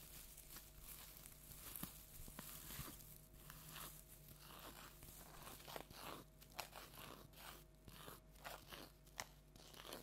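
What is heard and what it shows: A large orange plastic tinsel jack-o'-lantern decoration is scratched and crunched with long nails, giving a steady run of crisp, bright crinkling crunches and scratchy rustles. Sharper crackles stand out over a low, quiet hum.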